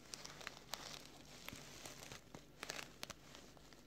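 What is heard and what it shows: Fingertips and short nails scratch and rub along the flap edge and fabric surface of a small, soft, closed black woven nylon K&F Concept filter pouch with a flap. The result is quiet, dry, crinkly scratching broken by sharp, bright ticks that stop instantly, with little low end.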